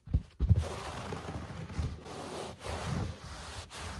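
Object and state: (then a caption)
Nails scratching on low-pile carpet. Short nails scratch and scurry across a low-pile speckled carpet, starting with a couple of soft low thumps. A steady, dry, broadband rasping follows, broken by brief pauses, with a dull low-end body under the bright texture.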